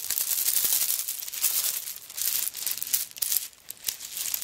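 A handbag covered in coconut shell chips is lifted and shaken, so the chips rattle in dense, dry, bright clicks, with some nail scratching over its surface. The sound is almost entirely high and crisp, with very short, quick-decaying ticks and no low end.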